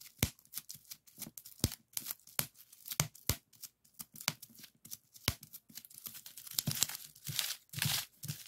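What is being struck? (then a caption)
Plastic bubble wrap sheet. A flat sheet of clear plastic bubble wrap with hollow air-filled bubbles is popped by fingertips pressing and pinching. The result is a rapid, irregular string of sharp, bright pops and crackles with a soft crinkling of plastic between them. The pops grow denser and more clustered toward the end.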